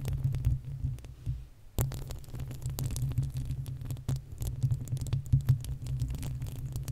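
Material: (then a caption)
Metal. Long acrylic nails on both hands scratch the uncovered, hollow metal mesh grille of a large desktop condenser microphone. The result is a dense, continuous low scraping rumble, punctuated by many short, sharp clicks that flash up into bright high tones.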